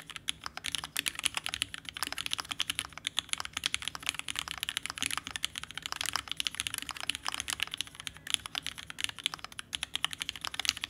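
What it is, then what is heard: Mechanical keyboard being typed on. A red ergonomic Alice-layout TGR Alice mechanical keyboard, roughly a $6000 board with vintage black switches, has an aluminum case and plate and pink and white plastic keycaps. It sits on a desk mat and is typed on continuously and rapidly with the fingertips of both hands. The result is a steady stream of short, dry, bright clacks with almost no low end and no ring after each press.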